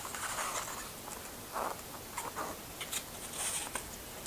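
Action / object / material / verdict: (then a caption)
scrape / paper booklet handled with rubber gloves / paper / none. Hands in black rubber industrial gloves hold a small printed paper booklet inside an open Blu-ray case and page through it, the gloved fingertips rubbing and flipping the paper pages. Soft, papery rustling and scratchy brushing run throughout, broken by brighter, crisp flicks as pages turn, all at a low, close level.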